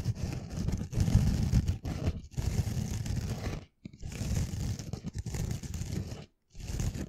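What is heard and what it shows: Long nails scratch slowly across the rough green scouring pad of a pink foam sponge held beside the mic. The result is a dense, harsh, low-heavy scraping and crunching in long strokes, broken by two brief silent pauses.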